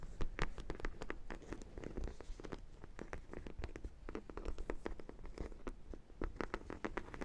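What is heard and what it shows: Long nails scratch across the yellow side and glazed top of a large, hollow sprinkle-donut dog toy, likely vinyl. It makes a steady run of quick, dry scratching clicks with a low, hollow body and brief bright edges. Each stroke dies away almost at once.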